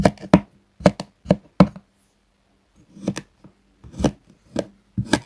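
A metal knife cuts diagonal lines into a flat, solid sheet of purple kinetic sand lying on a wooden board. Twelve short, dull chopping strokes land in two bursts separated by a brief pause. Each stroke gives a soft, low-heavy thud and crunch that stops almost at once.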